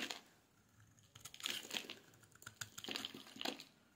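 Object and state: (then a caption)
Dry bar soap being shaved. A solid, dry yellow bar of soap is held in the hands and shaved with a metal blade, producing crumbly shavings. Soft, bright, crisp scraping and crackling comes in quiet bursts with little low end.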